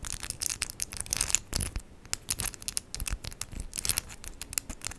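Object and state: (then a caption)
Acrylic nails tapped together. Long, decorated acrylic press-on nails made of hard plastic with 3D charms are rapidly tapped and clicked together between the two hands. The result is a dense, bright run of sharp clicks and light scratchy rubs with very little ring.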